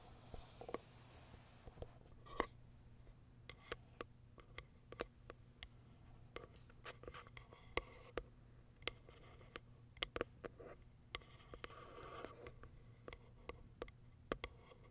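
Long acrylic nails scratch and tap the top and plastic window of a small white Kiara Sky cardboard box. The result is a quiet, steady series of short, sharp clicks and scraping strokes with a bright edge, over a constant low hum.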